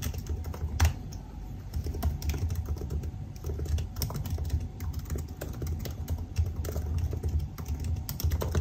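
Fingertips type steadily on a silver aluminium laptop keyboard with black plastic keys, making a continuous run of soft, dull key taps. The taps are short and low, with an occasional sharper, brighter click standing out.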